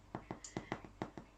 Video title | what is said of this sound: Homemade Bread Recipe | as you can hear is quite hollow so he's done